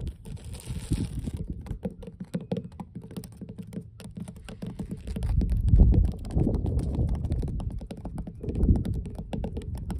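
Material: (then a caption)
Wood. Long blue nail tips on both hands tap quickly across large, solid, weathered wooden dock boards. The taps land in a fast, uneven patter of dull, low, short thuds with almost no high end, growing louder and heavier near the middle of the clip.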